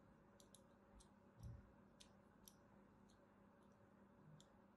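A thin metal blade scores line after line into the surface of a solid cream soap bar held in the hand. Each stroke gives a short, crisp, high scratching tick, spaced irregularly over a quiet, low background rumble.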